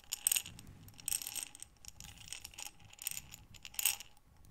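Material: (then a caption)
Glass. A medium glass mason jar with a metal lid, filled with buttons, is turned and tilted by hands with long dark nails so the buttons tumble and rattle. Bright clattering bursts come in several waves of quick, clicky rattles with little low end, separated by quieter shuffling between tilts.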